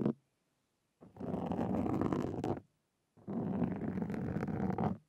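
Two wooden-handled carving tools with thin metal tips scratch across a black foam windscreen on a Zoom recorder. A brief scrape opens the clip, followed by two long passes of dense, rough scratching with a low, muffled rumble and a fizzy upper edge. Short silences separate the passes.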